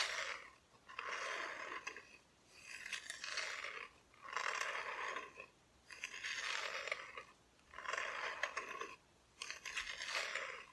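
Long nails scratch across the raw wood back of a flat, thin, solid plywood cut-out Christmas decoration. The sound is a series of dry, rasping scratch strokes, each lasting about a second, separated by short quiet gaps. The tone is bright and grainy, with almost no low end.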